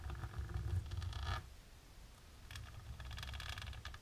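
Long natural pink nails tap and scratch quickly across a flat, dark embossed plastic sheet. A dense, crackly patter with a low rumble underneath fills the first second and a half, drops to a quieter hiss, then returns as brighter, scratchy rustling toward the end.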